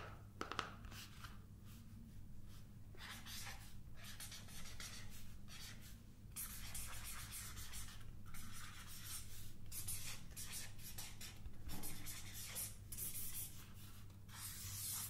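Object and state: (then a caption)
Paper sketchpad being scratched. Long painted nails scratch and rub across the surface of a large paper sketchpad, a solid stack of sheets held tilted. Quiet, dry scraping strokes come in repeated broadband bursts reaching high and bright, over a steady low hum.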